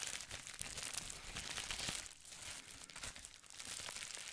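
A folded sheet of clear plastic bubble wrap is crinkled and squeezed with fingertips. It makes a steady, bright crinkling full of dense small crackles, mostly in the high range with little low end, and the intensity swells and eases throughout.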